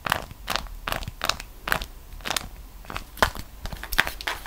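A folded, printed beeswax-coated cotton food wrap is held between both hands and squeezed, flexed and crinkled by fingers with long decorated nails. The result is a steady series of short, crunchy crackles and crinkles. Each bright burst cuts off almost instantly, over a low, quiet background.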